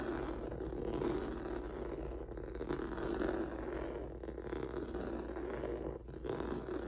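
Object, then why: Rubber noodle-texture mat. Fingertips and nails of a hand wearing rings scratch across a flat black mat with a dense, squiggly noodle-like rubber or vinyl surface on a yellow backing, lying on a wooden table. The result is a steady, dense scratchy rustle centered in the mids, with a low hum underneath and brief dips between strokes.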